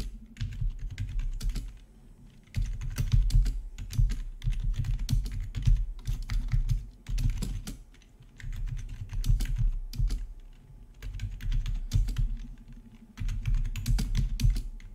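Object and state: Plastic membrane keyboard being typed on.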